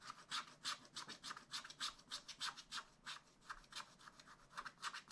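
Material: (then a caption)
Waxed paper. A wooden stylus scratches a black wax-coated scratch-art sheet in a spiral-bound pad, producing a quick, irregular series of dry, bright rasping strokes. About 26 short scrapes come at roughly three per second, each centered near 1.4 kHz with airy high hiss and almost no low end.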